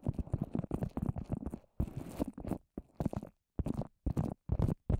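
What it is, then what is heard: Paper mache covered microphone. A microphone head coated in wet white paper mache, a dome about fist size, is tapped and scratched with the long orange nails of both hands. Dense bursts of muffled, low, crackling taps and scratches come in clusters separated by brief silences, with almost no bright content.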